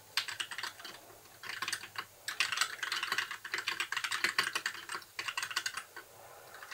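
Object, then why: Plastic mechanical keyboard. Fingertips type on a compact white mechanical keyboard with plastic keycaps. Quick, bright, dry clicks come in rapid bursts with brief pauses between, with almost no low end and each keystroke dying away almost instantly.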